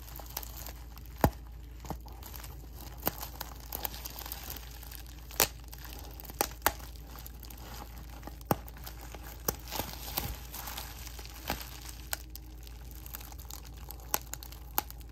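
A clear plastic bubble wrap sheet is held in the hands while fingertips crinkle and pinch the bubbles. Soft, continuous crinkling is punctuated by scattered sharp pops and clicks, all over a steady low hum.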